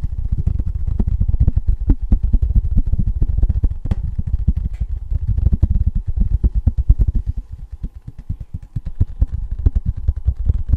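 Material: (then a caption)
Tin. Fingertips and nails tap fast on the bare silver back of a thin, embossed tin novelty license plate. The result is a dense, steady stream of quick, dull low thuds with a faint metallic click on top. Each tap dies away almost instantly, and the pace barely lets up through the clip.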